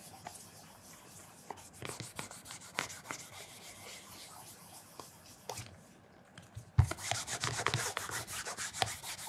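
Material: Leather.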